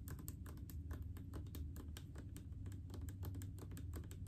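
Long painted fingernails tap rapidly on a large blue plastic mouthwash bottle full of liquid. The taps come as quick, light clicks with a bright edge over a steady low rumble, and each one fades fast.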